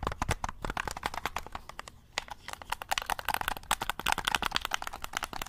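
A black, hollow plastic game controller is held up in both hands while thumbs and fingertips click its buttons and triggers. Rapid, dry, sharp clicks patter almost without break, bright and short with no ring, with a brief lull around the two-second mark before the clicking picks up again.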